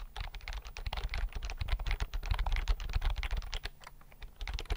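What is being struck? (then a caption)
Plastic computer keyboard. Fingertips tap quickly across the keys of a slim white plastic computer keyboard held near the mic. A steady stream of short, dry clicks comes through, each with a soft low thump and a brief bright edge that dies away almost at once.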